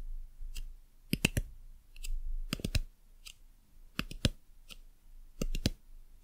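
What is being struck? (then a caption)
Hard plastic lamp base. Long nails tap and click on the hard plastic base and button on the underside of a white dumpling lamp. Sixteen sharp, dry clicks come in small clusters of two or three with quiet gaps between, and each stops almost instantly with no ring.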